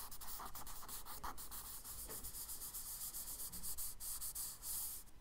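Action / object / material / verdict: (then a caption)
scrape / charcoal stick on kraft paper sketchbook page / paper / none. A charcoal stick scratches quick, short strokes across a page of a spiral kraft paper sketchbook. The result is a steady run of dry, bright, gritty rasps with a hiss high in the range and a faint low rumble underneath.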